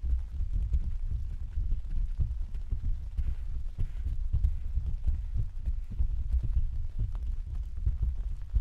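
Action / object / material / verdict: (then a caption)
tap / plastic vinyl umbrella canopy / vinyl / none. Several hands tap and pat with their fingertips on the thin, hollow canopy of an open, translucent white plastic/vinyl umbrella set on a stand. The result is a steady, dense patter of soft, deep thumps that overlap into a continuous low drumming, with almost no ring or brightness.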